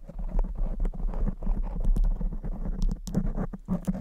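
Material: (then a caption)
Foam. Both hands with very long blue acrylic nails scratch and tap a soft, porous black foam windscreen on a silver condenser microphone. The result is a dense, continuous patter of muffled, deep thumps and rustling scratches, with occasional brighter clicks from the nail tips.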